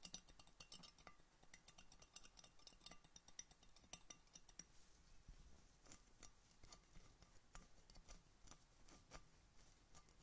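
Red-painted fingernails rapidly tap an empty clear glass Coca-Cola bottle with a red label, held sideways over the microphone, near its neck and cap. The result is a steady stream of quiet, bright clinks and clicks with very short ring over a faint low background hum.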